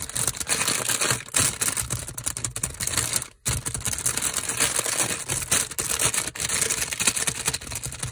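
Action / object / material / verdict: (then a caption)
scrape / bread bun in a plastic wrapper / plastic film / none. A packaged curry bread bun in a crinkly printed plastic wrapper is held in the hand and squeezed and scratched with fingers and nails. A dense run of bright, crackling plastic crinkles and rapid scratchy ticks continues steadily, broken only by a brief near-silent pause partway through.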